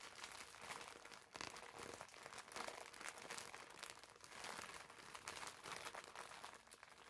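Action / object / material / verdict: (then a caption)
scrape / foam bath sponge in plastic film / plastic film / none. A green foam bath sponge wrapped in clear plastic film is held in both hands and squeezed with the fingertips. The result is a steady stream of bright, crisp plastic crinkling and crackling for about seven seconds, with little low end.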